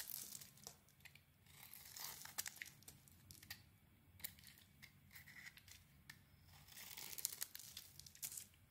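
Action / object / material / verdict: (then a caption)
scrape / solid soap bar / soap / none. A utility knife blade carves the edges of a cream and red rectangular solid bar of soap. It makes quiet, crisp scraping and shaving sounds, with bright crackling cuts and short sharp clicks as thin pieces come away.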